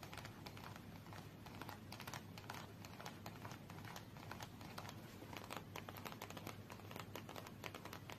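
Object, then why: Small cardboard card box tapped with fingernails. Long nails tap rapidly on the edges and faces of a small red cardboard UNO card box held in both hands. Quiet, dry clicks and taps run continuously with a bright crispness over a low background rumble, keeping a steady, dense rhythm throughout.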